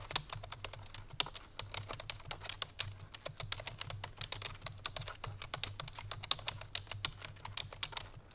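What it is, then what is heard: Plastic computer keyboard being typed on. Fingertips and medium-length painted nails of both hands type rapidly on a full-size black plastic computer keyboard resting on a white fur rug, with rhinestone tumblers sitting untouched beside it. The key presses make a fast, steady stream of short, bright, clicky taps with almost no ring, over a faint low hum.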